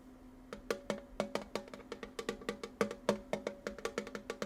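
A small Wicked-themed metal tin with munchkins on it is tapped with quick, uneven taps, starting after a brief quiet moment. Each tap is a short, dry knock with a hollow, slightly pitched ring around 200 Hz and a faint bright click, and it fades almost immediately.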